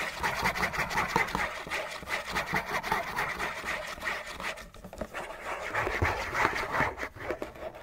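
Fingernails scratch aggressively and fast across the bottom and sides of a hollow, printed-cardboard Kleenex tissue box. The result is a dense, rhythmic, papery rasp centered in the mids around 1–2 kHz with bright high edges. It eases briefly near the middle before picking back up.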